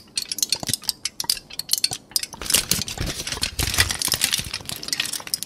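A thin sheet of aluminum foil is crumpled into a loose ball between both hands, crinkled and squeezed. Sharp, bright crackles come in separate bursts at first, then merge into denser, continuous crinkling as the foil is squeezed.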